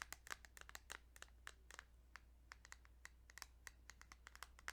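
Light, rapid tapping on a plastic Kirby's Dream Land 2 Game Boy cartridge produces 27 short, dry clicks with a bright tone centered near 1.6 kHz. The taps fall in an uneven rhythm over a steady low hum, and each one stops almost instantly with no ring.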